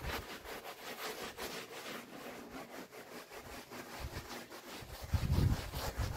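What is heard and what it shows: Orange-gloved hands rub a small red wool pile rug under soapy foam in sweeping strokes, making a steady wet, low scrubbing and swishing sound. A louder, deeper burst of rubbing comes near the end.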